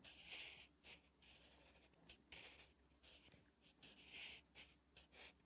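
A sharpened wooden graphite pencil is drawn across a thin, flat lined page of a spiral notebook, writing Korean letters. Soft, bright scratching strokes come in short bursts with brief pauses between them, each stroke dry and high-pitched with a hiss.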